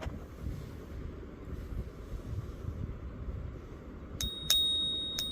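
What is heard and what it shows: A Silver Eagle silver bullion coin is flicked three times over low rumbling background noise, each flick giving a bright, high ping that rings at about 3.7 kHz and fades slowly. The clear, sustained ring marks it as a real silver coin.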